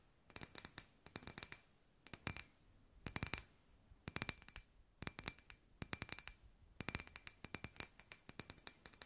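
Long grey nails tap a hand-sized, hollow, clear glass sphere lamp with LED fairy lights inside. Dozens of quick, bright clicks come in rapid bursts separated by short pauses, each dying away almost instantly with a faint glassy ring near 2.5 kHz. The tapping is quiet overall.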